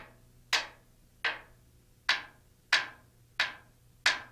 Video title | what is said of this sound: Rotorway Maintenance Video 0 25 svc hours | you should notice a solid sound resonating from the blade